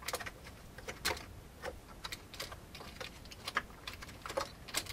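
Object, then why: Plastic computer keyboard. Fingertips of both hands type on the keycaps of a full-size old beige plastic computer keyboard with a hollow plastic case. The result is an uneven run of quick, dry, bright clicks and clacks that stop almost instantly, with some keystrokes louder than others, over a faint low hiss.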